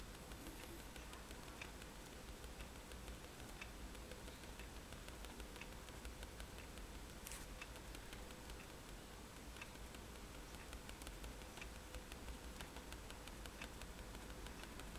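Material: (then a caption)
Paper. A fineliner pen tip is tapped rapidly on a flat sheet of white drawing paper resting on a table to make dots. Quiet, soft ticks and light patter repeat steadily over a low, constant background hum, with a few brighter clicks standing out.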